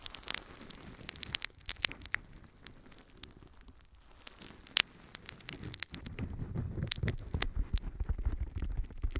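A palm-sized, yellow, porous natural sea sponge is held in one hand and scratched with the long nails of the other. The result is quiet, irregular crackling and rustling scratches with sharp, bright ticks scattered throughout. A fuller, low-pitched scrubbing texture builds in the second half.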